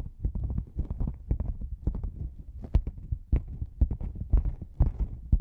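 A black padded nylon lens pouch, a hollow cylinder gripped from the sides, is tapped on its side panels with long nails and fingertips. The result is a quick, irregular run of soft, muffled, deep thumps that die away almost at once, with sharper taps poking through now and then.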